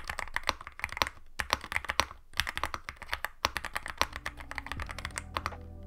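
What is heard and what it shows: Both hands type continuously on a Yunzii AL66 compact aluminum-case mechanical keyboard with Milk switches and white and black plastic keycaps, resting on a white desk. A rapid, steady stream of short, crisp clacks is heard, with bright clicky tops over a soft low thud on each press.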